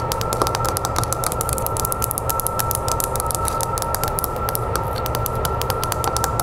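Long nails tap rapidly on the glass of an oval mirror in a wooden frame, lying face up. The result is a fast, steady stream of crisp, bright clicks over a faint ringing tone near 1.3 kHz and a low background rumble.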